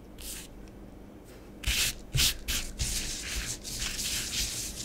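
Fingertips and long nails rub and sweep through orange bath bomb powder on a grey plastic tray, erasing letters. Soft, bright, gritty scratching and swishing rises into a series of louder rasping bursts, then settles into a steady sandy rub.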